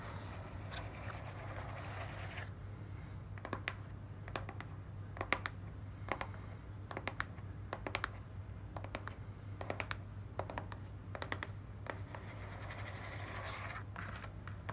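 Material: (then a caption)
Cardboard. Long nails tap and scratch across the top and front faces of a small, hollow, closed and stapled corrugated cardboard box. Crisp, bright ticks and short scraping strokes come in irregular clusters over a steady low hum. The pauses between bursts are filled with a soft rustling hiss.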